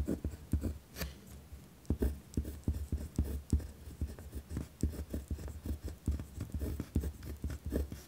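A pen tip scratches across a white lined paper pad resting on a wooden desk while writing. The result is a steady run of short, dry, scratchy strokes, heavy in low thuds with a faint bright hiss, each stroke stopping quickly without ring.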